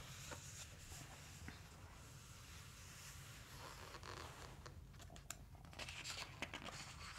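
Fingertips and a palm rub across the glossy paper pages of a large open hardcover dinosaur book lying on a wooden table, and then a page is turned. A quiet, steady papery hiss sits over a low rumble, and toward the end sharp, bright crinkles and ticks mark the page turning.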